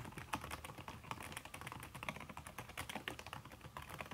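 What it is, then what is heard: Silicone-covered laptop keyboard. Fingertips with long red nails type fast on a backlit aluminium laptop keyboard fitted with a red silicone key cover. The result is a quick, continuous stream of soft, muffled clicks with short bright ticks and almost no ring after each tap.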